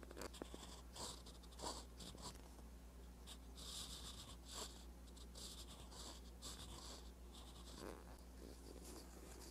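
A metal fountain pen nib scratches across a flat, spiral-bound paper notebook page while writing Korean letters. Quiet, dry scratching strokes come in short bright bursts, with a steady low hum underneath.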